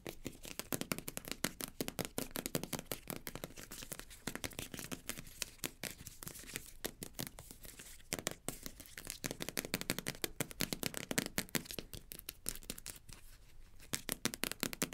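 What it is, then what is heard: Plastic squeeze tube, scratched and tapped. Long nails rapidly scratch and tap along the body of a green plastic cosmetic squeeze tube as it is held and turned over. The result is a dense, continuous stream of quick, dry clicks and crinkly scraping with a bright, crackling edge and almost no ring after each hit.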